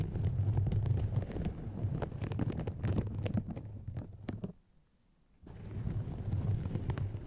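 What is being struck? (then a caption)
Polyethylene foam mesh sleeve. Two hollow white polyethylene foam mesh fruit-protector sleeves stretched over microphones are scratched and squeezed with long painted fingernails. The result is a dense, low, muffled rumbling crackle with quick scratchy ticks. It drops to near silence for about a second before the scratching resumes.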